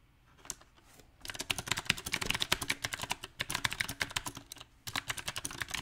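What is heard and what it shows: Fingertips tap the keys of a mechanical keyboard with round plastic typewriter-style keycaps on a silver metal frame. After a quiet start with a single early tap, uneven bursts of quick, bright, clacky key taps follow, broken by a short pause near the end before a final burst.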